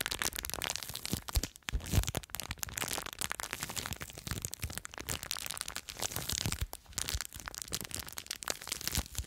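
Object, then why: Plastic bag filled with foam beads. Long nails scratch and crinkle a small clear plastic bag full of blue foam beads. The result is a steady, dense stream of bright crinkling and crackling, with short, sharp rustles and no ring.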